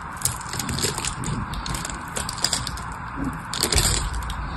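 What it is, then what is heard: Bar of soap being carved. A metal blade scratches and carves a grid into a solid blue bar of soap held in the hand, and small cubes pop off. Many short, dry, crisp clicks and scrapes overlap with bright, high edges over a low rumble, and they grow denser and louder near the end.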